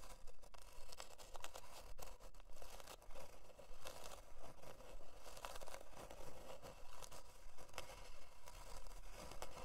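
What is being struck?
Thin plywood board.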